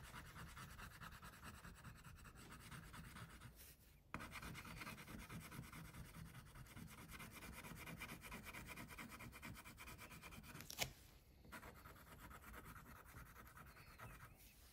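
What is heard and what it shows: An orange wax crayon rubs steadily across a flat paper coloring sheet on a clipboard, shading a tiger's face. A continuous soft, scratchy rubbing with low body and some bright grit, with a brief break near four seconds and a sharp tick just before eleven seconds.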